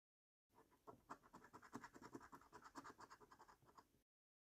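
A coin scratches the latex coating off a flat, thin cardboard £15 "Luxury Lines" National Lottery scratch card resting on a dark wooden table. About twenty short, quick scraping strokes come in an uneven rhythm, each a dry rasp centred around 1 kHz with bright upper hiss and almost no ring.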